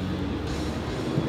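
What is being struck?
Nothing is struck.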